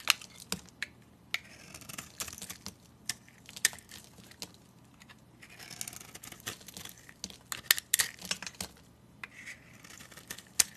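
A utility knife blade shaves curls off the surface of a solid, oval orange soap bar with teal coating remnants, held in hand. Crisp, bright scraping strokes and sharp little clicks come in irregular bursts over a quiet hiss, with soft rustling between cuts.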